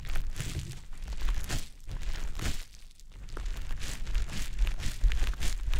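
A small, round, green konjac facial puff, soft, porous and damp, is held in the fingertips and rubbed and pressed against the silicone ear of a dummy-head microphone. It makes a continuous wet squishing and crinkly rubbing with a heavy low rumble underneath. The sound briefly eases to a quieter stretch around the middle before the steady squishing resumes.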